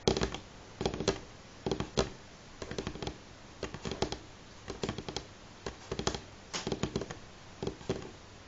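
Fingernails from both hands tap on a solid, light wooden table top. Quick bursts of short, dry clicks land in irregular clusters separated by brief pauses. Each tap has a bright attack over a woody tone around 380 Hz and dies away almost instantly.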